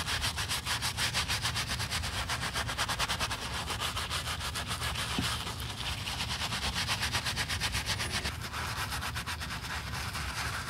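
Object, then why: Leather high-heel shoe scrubbed with a bristle brush. A black leather stiletto pump with a red sole is held in a gloved hand while its foamy upper is scrubbed with a wooden-handled bristle brush. The brush makes a steady, rhythmic rasping scrub with bright, hissy bristle noise and a low rumble underneath, continuing without pause.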